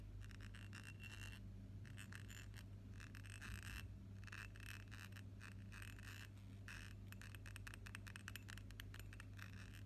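A pink ribbed glass perfume bottle filled with pink liquid is held in one hand and rapidly tapped and scratched with the fingernails of the other hand. The result is dense, bright clicking and scratching over a steady low hum.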